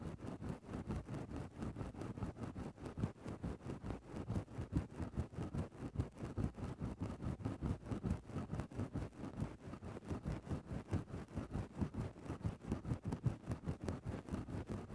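The tip of a wooden stick scratches steadily inside a grey faux-fur synthetic microphone windscreen. It makes a close, muffled, rhythmic scraping of quick strokes, about two to three per second, with dull, bassy thumps and almost no bright content. The texture stays steady and soft through the whole clip.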